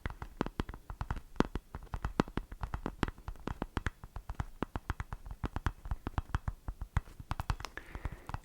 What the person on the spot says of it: è un tapping abbastanza particolare perché ha qualche richiamo stranamente metallico come nota di fondo